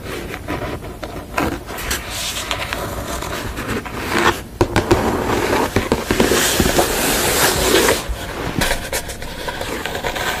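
Long nails tap and scratch across the top and edge of a thick, solid wooden panel painted red with a sugar-skull image, lying on a table. The result is a dense, continuous run of crisp, bright scratching with quick, irregular taps mixed in, and a fuller burst of scraping near the middle.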